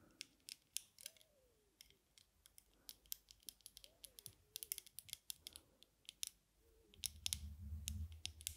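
Long nails tap the dark lenses and metal frame of small, thin aviator sunglasses worn on the face. About 32 quick, bright, dry clicks arrive in an irregular rhythm with no ring. A low rumble joins the clicks near the end.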